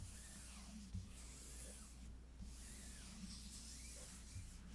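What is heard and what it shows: Fingertips and long nails rub and scratch across a closed rose-gold synthetic leather folio cover of an iPad lying flat. The result is a quiet, steady scratching with a bright, airy hiss, a few soft bumps, and a constant low hum underneath.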